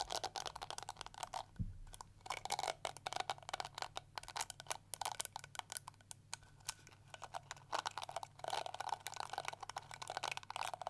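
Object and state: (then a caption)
Plastic detangling hair brush. Long nails scratch and flick through the yellow plastic bristles of a small pink and yellow plastic detangling hair brush held sideways. The result is a dense, quiet stream of rapid, dry, bright clicks and scratchy ticks that stop almost instantly, with a brief low thump early on.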